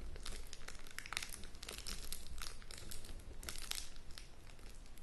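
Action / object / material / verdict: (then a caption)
scrape / shrink-wrapped cardboard box / plastic film / none. Long nails scratch and tap the top and sides of a sealed, shrink-wrapped cardboard board game box while hands grip and rub the plastic wrap. A steady stream of bright crinkling and scratchy taps plays over a low, soft rumble for about five seconds.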